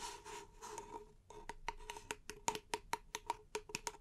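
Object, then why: Small paper cup. A small, empty, hollow paper cup, held in both hands, is scratched and tapped with long painted nails and fingertips. About a second of soft, bright scratching gives way to a quick, uneven run of about fifteen sharp clicky taps. Each tap carries a brief hollow ring near 920 Hz that dies away almost instantly.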